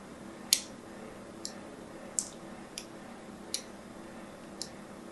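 A thin needle scores the corner and sides of a solid purple and white striped bar soap in scratching strokes. Six short, bright, crisp scrapes come at uneven intervals over a quiet low hum, each dying away almost at once.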